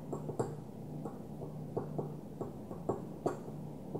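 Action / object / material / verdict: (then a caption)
tap / small glass perfume bottle / glass / none. Long fingernails on one hand tap a small opaque white glass perfume bottle lying on its side. The quiet, irregular taps are short, dry clicks with a brief mid-pitched tone around 400 Hz that dies away almost at once. A faint low hum continues underneath.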